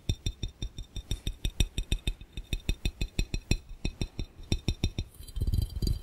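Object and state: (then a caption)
Glass fishbowl. Fingernails tap quickly on a clear, round, hollow and empty glass fishbowl, about 33 distinct taps in a fast, uneven rhythm. Each tap gives a short low knock with a bright glassy clink on top. Near the end, the taps turn into a denser, rougher flurry.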